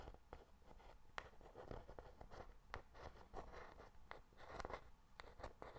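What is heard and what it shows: Long black pointed nails tap and scratch a small, closed, hollow white cardboard Pandora jewelry box held in the hand close to the mic. Quiet, dry, sharp clicks stand out over a soft, continuous scratching and a low rumble, and each tap dies away almost instantly.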